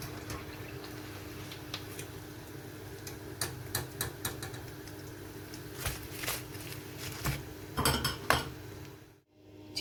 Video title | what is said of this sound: [SUB] Crispy Chicken Pakora + Potato Samosa - 2021 Eid Recipe - URDU - HINDI | Can you hear how crispy they are?